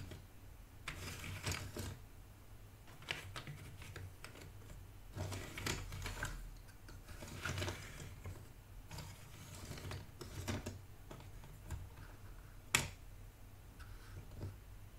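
Fingertips with dark-painted nails rummage and scratch through a loose pile of small cardboard jigsaw puzzle pieces in a shallow white cardboard box. The sound is a run of dry, papery rustling and clicking bursts that rise and fall, with one sharper click near the end, over a steady low hum.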